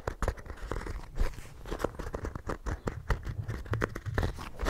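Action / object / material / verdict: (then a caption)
scrape / embossed hardcover notebook cover / cardboard / none. Fingernails scratch the textured cover of a small, solid, ornate embossed hardcover notebook held close up. Quick, dry scratching strokes come in an uneven stream of short bursts, with a strong low, thumpy body and faint crisp edges that fade almost at once.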